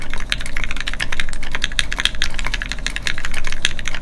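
A full-size Keycult No2 Rev1 mechanical keyboard with Gateron Ink switches, a brass plate and red plastic keycaps sits flat in its solid metal case on a desk mat while both hands type continuously with their fingertips. It produces a rapid, steady stream of short, crisp key clacks with bright tops, over a constant low hum.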